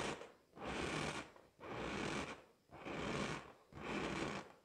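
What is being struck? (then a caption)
Inflated latex balloon. A pink, hollow, inflated latex balloon held in both hands is scratched and tapped with long acrylic nails. Four separate sustained scratching strokes of broadband, hissy rubbing come about once a second, each swelling and fading with short pauses between.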